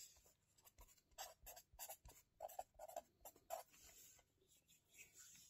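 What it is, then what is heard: Felt-tip marker writing on a paper notebook. A felt-tip marker held in fingers writes on an open lined-paper spiral notebook resting on a table. Quick, quiet scratching strokes come in uneven bursts, with a bright papery hiss and a faint midrange squeak around 650 Hz, separated by short pauses.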